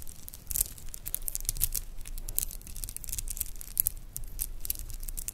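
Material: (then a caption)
Metal, shell. A doubled metal and shell bead bracelet is squeezed and rolled between the fingertips, then hung over the fingers and jingled and shaken close to the microphone. Dense, bright clicks and clattering jingles of beads knocking together come in quick clusters over a soft low rumble, each tick dying away almost instantly.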